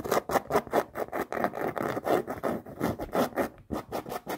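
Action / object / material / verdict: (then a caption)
scrape / canvas sneaker with rubber sole / canvas / none. Long nails rapidly scratch and tap along the rubber sole and canvas of a floral canvas sneaker. The result is a quick, uneven series of dry, rasping strokes and short taps centered in the midrange, with little deep or bright content and almost no ring after each stroke.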